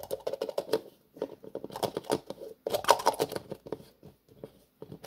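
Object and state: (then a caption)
Plastic jar lid. Fingertips tap and twist the black plastic screw lid of a small cream-colored plastic jar, producing rapid, dry clicky taps in uneven bursts. The clicks are short and mid-pitched with a brief bright edge, separated by short pauses.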